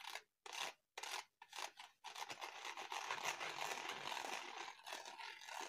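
Fingertips and short nails tap and scratch the pink-iridescent plastic cover of a medium-sized notebook, which is held upright and embossed with raised dots. A few short, separate scraping bursts with quiet gaps come first. They then give way to steady, bright, dry scratching that carries on to the end.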